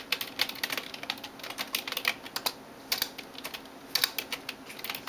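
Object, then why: Plastic computer keyboard. A hand types on a backlit plastic computer keyboard with fingertips and nails, making about 26 rapid taps. The taps are sharp, bright clicks that die away almost instantly, with almost no low end and a faint steady high hiss underneath.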